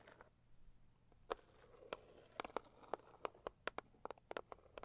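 Long acrylic nails tap the lid of a closed, hollow, medium-size pink floral Saviland cardboard gift box, ending with a single-nail tap. Sharp, quiet clicks ring out in irregular bursts over a low hum, each with a hollow midrange tone that dies away almost at once.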